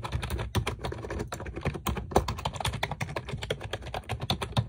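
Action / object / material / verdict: tap / plastic computer keyboard with round keycaps / plastic / none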